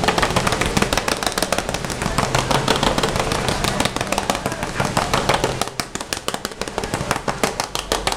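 Fingertips rapidly drum, tap and scratch across the front of a closed, hollow, red glossy vinyl Hello Kitty zippered pencil case. The result is a dense, fast, uneven patter of crisp taps over a low, hollow body. It grows somewhat softer in the last few seconds.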